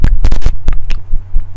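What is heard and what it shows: A plastic container of soft body acrylic paint is shaken, producing a quick series of dull, low thumps and soft sloshing over a steady low hum. The paint can be heard moving around inside, showing it is fluid, more fluid than heavy body paint.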